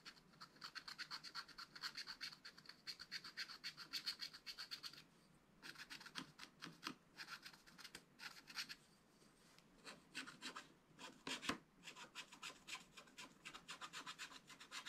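A wooden stylus scratches rasping strokes on the tree trunks of a flat, spiral-bound scratch-art pad of black-coated card. Bright, dry scraping comes in quick, uneven bursts of about four strokes per second, with a short pause around 5.5 seconds and again near 9 and 11.5 seconds. Each stroke ends almost at once with no ring.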